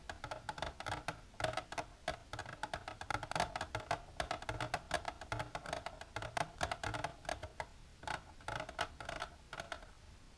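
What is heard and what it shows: Long natural nails with silver polish tap continuously on a plastic container for ASMR. Rapid, irregular bursts of crisp, hollow clicks follow one another closely, each with a short ring around 630 Hz and a bright edge.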